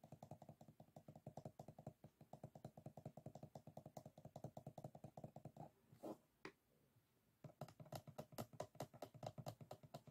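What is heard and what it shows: A small closed bamboo folding fan, its stacked bamboo ribs and folded paper lying flat on a wooden table, is tapped and scratched along the rib edges with fingertips and short nails. A rapid run of short, dry clicks with a low body and a little bright edge plays for about five and a half seconds. After a brief pause with a couple of softer scrapes, the quick clicking resumes.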